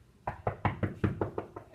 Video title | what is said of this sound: Earth's Interior | I can tell that there's wood on the other side of that wall just by knocking on it and listening to the vibrations